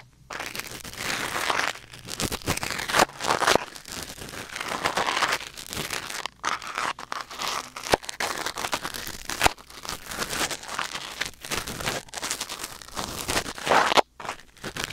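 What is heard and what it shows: A thin wooden or bamboo ear pick, held in the fingers, scratches and scrapes inside the canal of a white silicone ear mounted on a black binaural microphone. The sound is close, dense crinkling and crackling with many sharp little scrapes. It is mostly mid and high, with almost no low end, and there are brief dropouts near 6 and 14 seconds.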